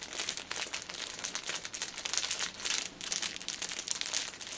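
Fingers and nails squeeze and crinkle the plastic film of a hand-held, cellophane-wrapped six-pack of paper pocket tissues. The result is a dense, continuous run of bright, crackly crinkling with almost no low end.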